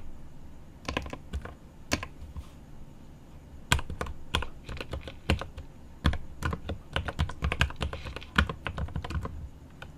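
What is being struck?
Mechanical keyboard with plastic keycaps and aluminium case.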